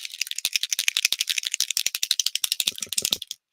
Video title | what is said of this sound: Let's Make: Spooky Season Stuffs | you can shake it so you can hear that ball